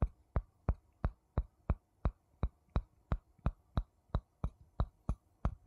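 A wooden spoon taps a wooden bowl 17 times at a steady pace. Each tap is a short, dull, low knock that dies away almost instantly, with a faint bright click at the strike.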